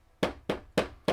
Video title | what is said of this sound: 2 Awesome Travel Trailers with Front Kitchens | like your wood cabinets, sometimes they sound like that little bit of a rattle sound